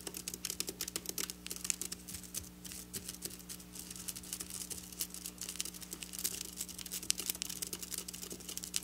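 Long black nails tap and scratch across flat silver sequin fabric. They make a quiet, rapid patter of bright, crisp clicks and rustles, like fast typing, over a faint steady low hum.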